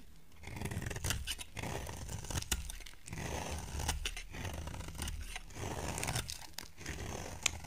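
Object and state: Soap bar being carved.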